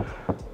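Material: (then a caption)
Plastic. A single knock on the rear body panel of a 2015 Mitsubishi Outlander PHEV gives a short, hollow thud centered low around 270 Hz that dies away almost instantly. The panel looks like metal but is mostly plastic, a cost-cutting flaw.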